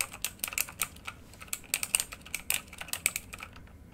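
A full-size RGB backlit mechanical computer keyboard with plastic keycaps on a hollow housing lies flat while both hands type rapidly on the keys with their fingertips. About twenty-two short, bright, clicky key taps come in quick irregular bursts, each dying away almost instantly with very little low end.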